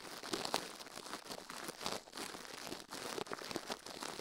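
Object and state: Silicone ear microphone being brushed.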